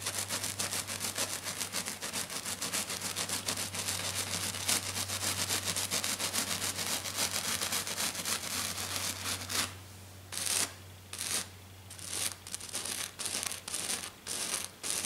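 Hands with black nails scratch hard and fast across a flat silver glitter-covered sheet, making a dense, bright, gritty rasping over a steady low hum. After about ten seconds the continuous scratching breaks into short bursts separated by brief pauses.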